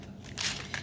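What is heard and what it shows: A sheet of sourdough starter, dehydrated on parchment in a dehydrator at 95°, is broken and crushed close to the microphone. It gives four dry, bright crackling crunches over faint background hiss. The crispness shows it is dry enough to crumble and store in a jar.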